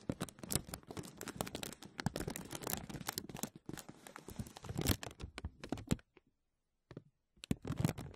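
A thin, clear, embossed plastic vacuum-seal bag is laid over a mesh microphone dome and pressed and crinkled with the fingertips. This makes a dense run of close, dry crackles and soft pops with a low thumping body. The sound drops to near silence for about a second before resuming in short bursts.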